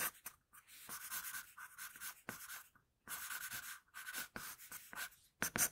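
An HB wooden pencil with a floral-pattern barrel, held in the fingers, sketches on a flat sheet of drawing paper lying on a table, scratching graphite across the paper. Quick strokes come in bursts of bright, dry scratching hiss with a faint steady squeak-like tone near 1.5 kHz, separated by brief pauses.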